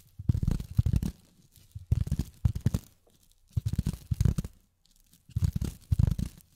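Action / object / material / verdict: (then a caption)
tap / polyethylene foam / polyethylene foam / none. Long fingernails tap rapidly on polyethylene foam in four quick bursts separated by short pauses. The taps are dull and low, with a soft, faintly crinkly texture and almost no ring after each hit.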